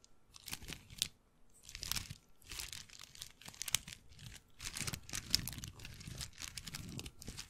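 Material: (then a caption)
Wood. Fingertips and nails rub and scratch the bead lattice of a hollow, dark brown wooden bead handbag, which is also shaken close to the mic. Dense, bright, crunchy clicking and rattling comes in quiet bursts, with sharp brief ticks and little low end.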